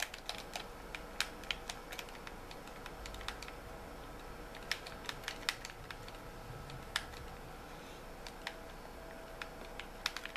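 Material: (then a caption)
Plastic. Fingertips tap on the shell and triggers of a white hollow plastic gamepad, making quick, irregular, bright clicky taps that die away almost at once. The taps sit over a faint, steady low background hiss.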